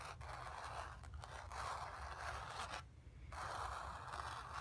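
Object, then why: Painted cotton canvas. Long fingernails quickly scratch across a sphere painted on stretched, painted cotton canvas. The result is a steady, dry scraping rasp centered in the mid-range, with a low rumble underneath and a brief quiet pause just before the scratching resumes.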